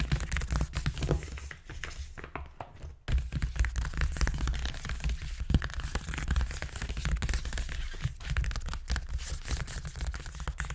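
Fingertips and short nails scratch and tap quickly on a flattened grey paper gift bag with a hexagon print lying on a table. The result is a dense, continuous run of crisp papery crinkles, crackles and scratches over a low, dull thumping, with a brief pause near the three-second mark.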